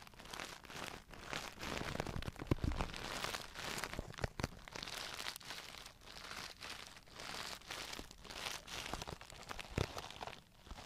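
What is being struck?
Clear plastic brush case with brushes inside.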